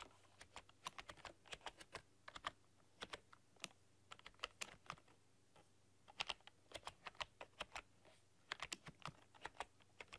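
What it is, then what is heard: Plastic computer keyboard being typed on. Long dark-polished nails and fingertips type on a full-size plastic computer keyboard with black keycaps and a rainbow backlight, pressing and clicking the keys. Dozens of quick, sharp, bright clacks come in irregular bursts separated by short pauses, each dying away instantly. A faint steady low hum sits underneath.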